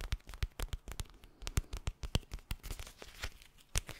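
A teal, soft, palm-sized eye mask of clear plastic filled with gel beads is held close to the mic and tapped and scratched with fingertips and nails. Quick, irregular taps with very short decay mix with crinkly scratching, carrying a low thump beneath bright crackly edges.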